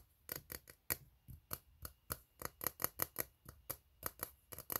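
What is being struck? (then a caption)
Ribbed steel tin can. Fingertips tap the bottom of an empty, hollow, ribbed steel tin can while nails scratch across its ribs. About eighteen short, separate strikes with quick scraping come through quietly, each a bright metallic tick with a hollow low thump and almost no ring.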